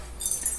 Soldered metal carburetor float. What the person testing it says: i don't hear anything but a little piece of solder that probably fell in there when they were making it and it's empty